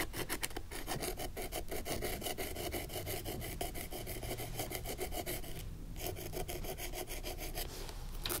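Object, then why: Old leather ankle boot. A long, thin wooden stick scrapes along the seams and leather upper of an old, suede-like leather ankle boot held upright. It makes a continuous dry, raspy rubbing of quick, repeated strokes, with a low rumble underneath and a brief softer pause just before the six-second mark.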